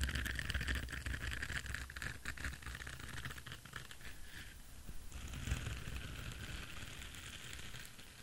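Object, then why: Silicone bristle scrubber brush. An orange silicone bristle scrubber brush is held in one hand while fingertips and nails scratch across its bristles. The result is a steady, dense scratching and rustling with a bright, crackly edge and a faint low rumble underneath, easing slightly in the middle before picking up again.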